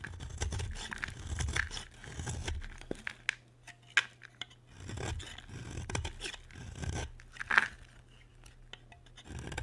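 A solid white bar of dry soap is carved with a utility knife blade, and flakes fall onto a white surface. Dry scraping and shaving strokes come in uneven bursts with a low rumble, punctuated by sharp bright clicks as the blade catches.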